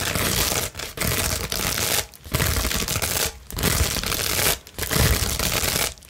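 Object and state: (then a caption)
Plastic bubble wrap sheet. A large clear plastic bubble wrap sheet is held flat and scratched with long nails, making dense, bright crackling and rustling in sustained bursts. Brief quiet gaps break up the scratching.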